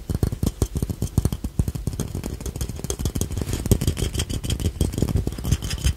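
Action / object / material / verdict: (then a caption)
tap / glazed ceramic ladybug money box / ceramic / none. Fingertips and nails tap the red shell and yellow face of a small, hollow, glazed ceramic ladybug piggy bank held in the hands. The result is a rapid, steady series of short, dull, hollow knocks, weighted toward low frequencies, with almost no ring after each tap.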